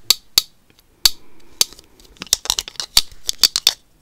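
Long acrylic nails tap and scratch a black plastic Magic 8 Ball held close to the mic. About fifteen sharp, bright clicks land in an uneven rhythm, with a soft scratching rasp between them and the taps quickening toward the end.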